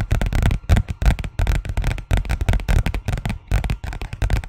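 A thin white paper envelope, held in both hands, is scratched and tapped with fingernails. Quick, irregular bursts of dry papery crackling and soft tapping come in a steady flurry, with a dull low thump under many of the taps.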